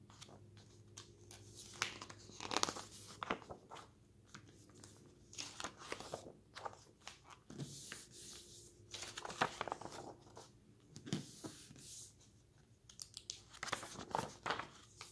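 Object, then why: Glossy paper magazine. Fingertips rub a glossy paper magazine, open at a "shop the look" page, to smooth it flat, then flip through the next pages. Soft, papery rubbing gives way to crisp, bright crinkles and snaps as each page turns, with quiet stretches between the louder flips over a faint low hum.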